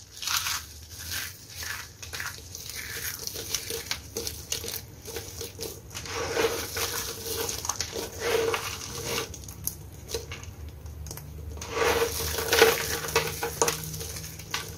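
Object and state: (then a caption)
Dry brittle soap crushed by hand. Broken dry soap chunks and thin soap shavings in red, green and brown lie piled on a white surface. The solid, brittle pieces are crushed, crumbled and rubbed between both hands with fingertips that have short blue-painted nails. The result is a steady stream of bright, dense crunching and crinkling crackles, with louder bursts near the end and a faint steady mid tone underneath.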